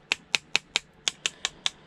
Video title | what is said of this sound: Even rubbish plastic scrap can have gold, you don't know until opening. +5 years of Sollers YouTube. | that bit of metal sounds like plastic to me